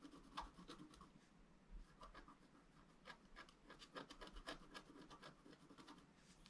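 A pointed wooden stylus scratches the coating of a thin black wax-coated scratch-art paper sheet lying flat and solid on a table. Quiet, irregular, rapid scratching strokes give bright, dry rasping bursts centered around 1 kHz over a faint low hum. Each stroke stops quickly with almost no ring.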